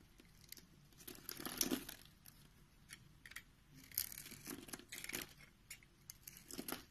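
A box-cutter blade cuts and scrapes through a scored grid on a solid, palm-sized pink bar of soap held in the hand, so small pink cubes crumble off. Dry, bright crunching and crisp scraping come in a string of short bursts over a quiet background.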